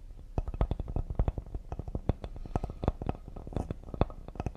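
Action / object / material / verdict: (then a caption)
tap / cedar wood serving board / cedar wood / none. Fingertips tap rapidly near the side edge of a solid cedar serving board. The result is a fast, uneven patter of short, dull, low wooden knocks that stop dead with no ring, some louder than others.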